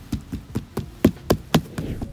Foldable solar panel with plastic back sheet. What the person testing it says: solar cells appear to be placed on a tough polymer plastic back sheet or something similar